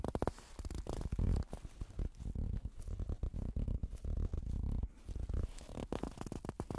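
Blue nitrile-gloved fingertips scratch and squeeze the lower front and sides of a stuffed plush toast toy with a sad face, soft yellow fabric and solid stuffing. The result is a dense, muffled run of low, dull scratching and rubbing with quick soft bursts and almost no brightness, swelling and easing as the squeezes come and go.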